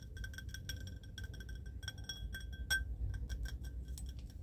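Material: Glass.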